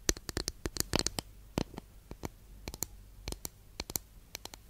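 Long nail tips tap quickly and irregularly on a long, flat, thin, solid wooden incense holder held diagonally, giving about twenty short, dry clicks. Each click is bright and crisp with a faint low thud underneath and almost no ring, over a quiet background.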